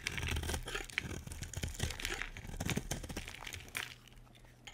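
A solid pale pink bar of soap, held in the hand, is scraped with a utility knife blade so that chunky flakes break off. Rapid, uneven crackly scraping and crunching cuts fill the clip, with bright crisp edges over a low rumble. The sound softens and thins out toward the end.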